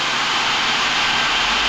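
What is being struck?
Nothing is struck.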